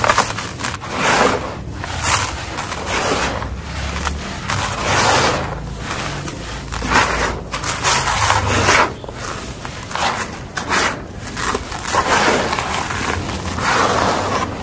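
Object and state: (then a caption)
Dry crumbly soil. Bare hands scoop, crumble, rub and pour loose, dry, grainy, dusty mud soil back into a large red plastic tub. Dust rises as the soil falls. Soft crumbly crackling and gritty scraping rise and fall in repeated bursts, with bright grainy hiss and a faint low rumble underneath.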